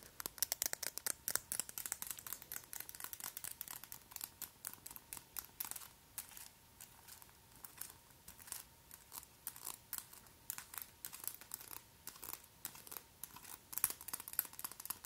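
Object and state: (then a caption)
Acrylic nails tapping together. Very long, pointed, white acrylic press-on nail extensions are tapped and scraped against the nails of the other hand. The result is a quiet, continuous stream of sharp, bright clicks and scratchy rasps, dense and irregular, with almost no low end and a faint steady tone underneath.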